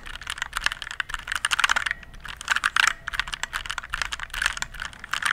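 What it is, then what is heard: Plastic mechanical keyboard. A compact RGB-backlit plastic mechanical keyboard is held beside the mic while fingertips press and type on its keys. Quick, bright clacks come in irregular bursts with very short decay and little low end.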